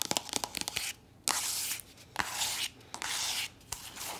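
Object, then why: Soft plastic lotion tube. A soft plastic body lotion tube, apparently full, is tapped and scratched with long nails. A burst of quick, bright taps gives way to longer, hissy scratching strokes broken by short pauses and a few sharp clicks. The sound is mostly high and crisp with almost no low end.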